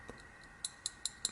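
The bent metal pocket clip of a Benchmade 580 Barrage folding knife no longer sits tight against the handle and taps against it. Four sharp, bright metallic ticks come at even intervals with almost no ring, and fainter ticks come before them. The loose, bent clip is faulty.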